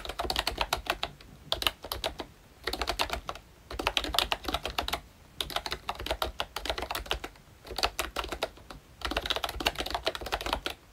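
A full-size ROYCHE Disney Mickey Mouse themed retro membrane keyboard with round plastic keycaps is typed on continuously with the fingertips of both hands. Bursts of rapid, bright, clicky keystrokes with very short decay are separated by brief pauses, over a faint low thump from each press.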